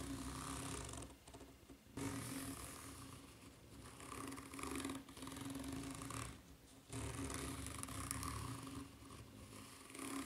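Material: Rubber.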